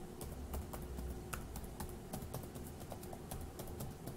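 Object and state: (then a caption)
Plastic laptop keyboard being typed on. Fingertips of one hand tap the plastic keys of a dark grey laptop keyboard, making a quick run of soft, bright clicks. A low, steady hum runs underneath throughout.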